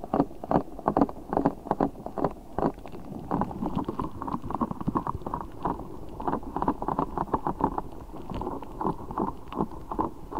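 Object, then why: Rubber spiky ball filled with gel water beads. A large translucent rubber spiky ball filled with gel water beads is squeezed and rubbed by both hands. The result is a steady run of short, soft squishing and squelching bursts, muffled and low-to-mid pitched with almost no bright edge, continuing throughout the clip.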